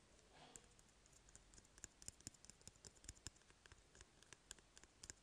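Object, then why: Empty cardboard toilet paper tube. A small, empty, hollow brown cardboard toilet paper tube, held in one hand, is tapped and scratched with fingertips and short nails. A soft scratching rustle near the start gives way to a quick, irregular series of quiet, sharp, dry clicks that stop almost instantly.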